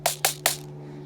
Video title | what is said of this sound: Great Beginner Rifle - Valken ASL Model M Review #airsoft #review #airsoftreview | that cheap sound comes from magazines